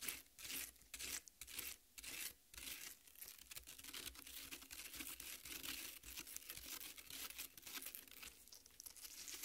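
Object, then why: Half watermelon, cut flesh. Long red nails scratch and scrape the wet red flesh of a watermelon half resting on a plate. Short, bright, crackly tearing strokes come first, then run together into a steady, wet, crinkling scrape.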